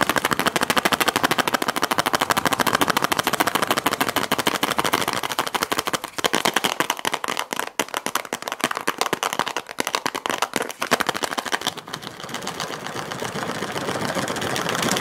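Fingernails tap and scratch a round clear plastic tub with a blue lid, full of teal glitter slime, producing a fast, dense stream of sharp, bright clicking taps with almost no low end. The tapping stays quick and uneven, then near the end gives way to a steadier, continuous scratching rasp.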